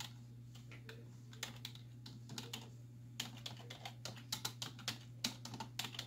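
Both hands with long white nails type quickly on a black plastic desktop keyboard with hollow keys, striking with fingertips and nail tips. A fast, uneven run of sharp, bright, hollow clicks sits over a steady low hum, with each click dying away almost at once.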